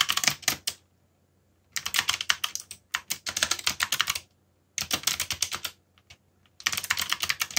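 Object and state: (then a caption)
Plastic mechanical keyboard. Fingertips type steadily on a backlit mechanical computer keyboard with plastic keycaps, producing bright, crisp clacks that die away almost instantly. The keystrokes come in quick bursts separated by short pauses, with a couple of lone taps near the end before a final run of typing. A faint low hum sits underneath throughout.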